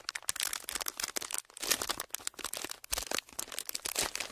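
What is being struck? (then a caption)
Thin clear plastic packaging sheet. A thin, clear, ridged plastic packaging sheet is bent and crinkled with the fingertips of both hands. The result is a dense run of bright, crackling crinkles with quick, dry snaps that die away almost instantly. There is almost no low end.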